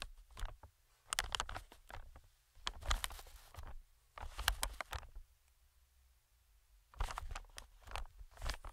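Metal tweezers tap and scratch the film of an inflated, medium-sized green plastic air pillow. Bursts of quick, crinkly taps and scrapes with bright crackle and a soft low thud come in several clusters, separated by near-silent pauses.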